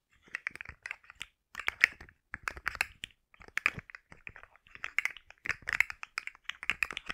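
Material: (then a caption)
Plastic. A rainbow segmented plastic articulated slug fidget toy is held curled in the hand while its segments are tapped and scratched with long nails. Quick, dry, bright clicks and scratchy ticks come in bursts separated by short pauses, along with the clicking of the articulated joints. There is almost no low end or ring.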